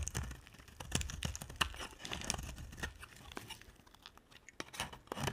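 A utility knife blade shaves curls off the edge of a solid, dry, pink embossed soap bar. It makes a quick string of crisp, crackly scrapes and snaps with bright, papery highs and soft low thumps. Each cut dies away almost at once, and quiet gaps fall between the strokes.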